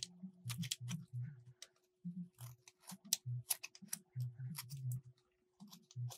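A solid light blue bar of soap is carved with a metal utility blade, making a series of short, dry scraping cuts. Each cut pairs a low, soft thud with bright, crisp crackles and stops almost instantly. Brief silent gaps fall between the cuts, and a faint steady hum sits underneath.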